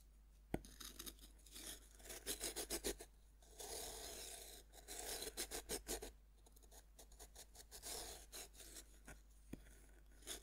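A metal knife tip scratches grooves into a fist-sized, solid pink pressed-powder bath bomb that one hand holds on a wooden board. The result is a series of gritty, bright rasping scrapes in short bursts and longer strokes, with quiet pauses between them and a couple of sharp ticks.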